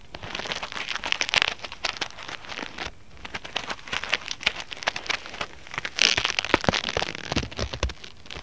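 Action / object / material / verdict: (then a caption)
scrape / polyethylene foam mesh fruit sleeve / polyethylene foam / none. Fingertips and nails scratch and rub across a white polyethylene foam mesh fruit sleeve resting on a mat. The result is a dense, bright, crackly crinkling made of rapid short scratches, swelling into louder bursts near the start and again around the six-second mark.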